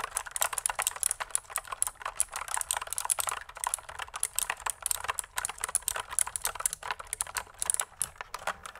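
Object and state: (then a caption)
Plastic mechanical keyboard typing. Long nails and fingertips type quickly on a pink plastic mechanical keyboard with pink and white keycaps and a hollow body, held upright and tilted. A steady stream of dry, bright, clacky keystrokes with sharp attacks, almost no ring and almost no low end.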